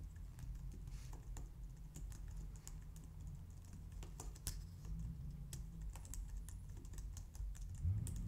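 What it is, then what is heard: Plastic computer keyboard being typed on. Both hands with long painted nails type steadily on a white plastic low-profile wireless keyboard. Light, bright plastic clicks tap quickly and die away almost at once, over a constant low rumble.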